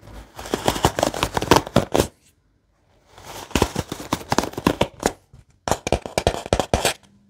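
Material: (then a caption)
Wood. Fingertips and nails rub and flick across the wooden bristle pins of a wooden paddle hairbrush, its pins set in a white cushion. Quick, dry clicking taps come in three bursts separated by short silences, each tap sharp and bright with almost no ring.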